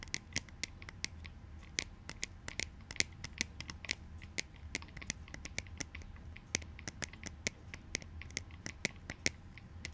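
Quick, dry taps and scratches on plastic clout goggles: sharp clicks ring out at an irregular pace over a soft, steady scratching hiss, with energy concentrated in the high frequencies around 2 kHz.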